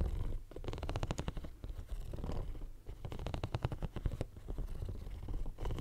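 Fingernails scratch the studded surface of a hand-sized, pink, bumpy silicone pencil case right next to the mic. The sound comes in bursts of rapid, rattling ticks over a deep, rumbling low end, with short quieter gaps between strokes.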